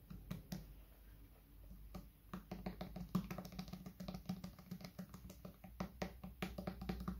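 A tall, hollow white plastic bottle, held upright in one hand, is tapped with fingertips on its top and sides. The result is a quick, irregular run of soft, dry taps, each with a short hollow thump around 180 Hz that dies away almost at once.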